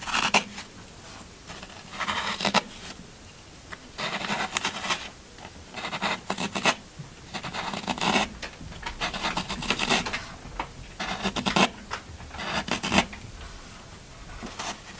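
A pointed black stylus scratches and carves grooves across the top face of a solid green floral foam brick held in one hand, with crumbs falling onto a black table. Short bursts of dry, bright, crunchy rasping come in repeated clusters, separated by quiet pauses.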